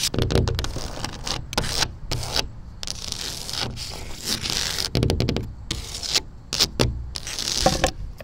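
Long matte black acrylic nails tap and scratch a large, flat, mounted panel of tan exterior wall siding with a wood-grain texture, likely engineered wood. Bursts of dry, gritty scraping alternate with quick taps, giving a bright rasp over a low, hollow thump with almost no ring.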